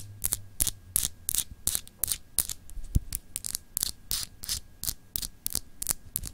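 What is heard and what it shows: Long acrylic nails scratch a palm-sized, solid clear glass globe paperweight with textured etching, held in the hand. A steady run of short, bright, raspy scratches follows in quick succession, each one dry and clipped with almost no ring. A faint low hum sits underneath.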